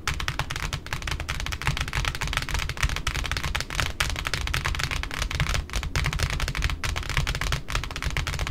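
Long pointed nails of both hands tap rapidly on the white cardboard top of a large, flat pink satin ribbon spool resting alone on a wooden table. The taps run together into a steady, dense patter of bright, dry clicks over a hollow, low thump from the cardboard, with each tap dying away almost at once.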